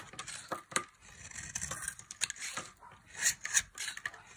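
A box-cutter blade carves crumbling chunks off a solid, dry tan bar of soap held in the hand. The sound is a rapid, irregular series of bright, dry scrapes and crisp crackles that die away almost instantly, with little low end.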